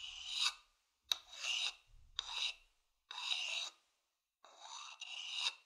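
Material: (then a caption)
Wood. A medium hollow wooden bowl, held in both hands, has its outer side scratched with a thin wooden stick. Five separate bright, high rasping and rubbing strokes are heard, with short silent gaps between them.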